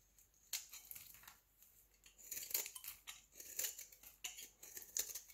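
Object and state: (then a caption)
Bar of soap being shaved. A solid rectangular white bar of soap, held in the hand, is shaved with a utility knife blade as flakes fall away. Quick, crisp scraping strokes come in a rapid series, thin and bright with almost no low end. Each stroke cuts off sharply with no ring.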